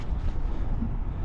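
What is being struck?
Nothing is struck.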